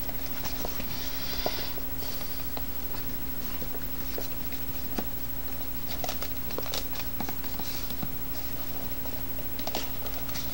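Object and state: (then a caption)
Hollow cardboard box. A small, hollow white cardboard box with a lid is held in both hands and tapped on its faces with the fingertips. Soft, light, irregular patters and clicks with brief bright edges sit over a steady low hum.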